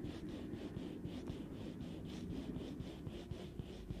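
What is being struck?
Metal mesh microphone grille.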